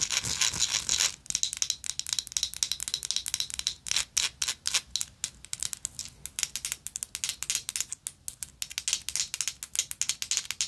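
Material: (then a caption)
Metal. Long nails scratch and tap a small, hollow vintage gold-tone textured metal lighter. A second of continuous bright scratching gives way to dozens of quick, irregular, crisp clicks and taps that die away almost at once, with a light rasp running between them.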